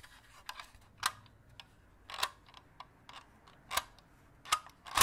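A green, hollow, palm-sized plastic crocodile dentist toy with white teeth, held in both hands, is tapped and clicked with the fingertips and nails. Several short, bright plastic clicks and taps ring out, the loudest as sharp ticks with a brief, dry decay and a faint low hum between them.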